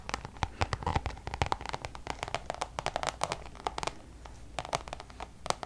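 Long nails tap and scratch the face of a checkered coated-canvas Louis Vuitton designer pouch. A quick, uneven run of short, sharp clicks rings out with bright edges, with soft scratchy rustling between them over a faint low background hum.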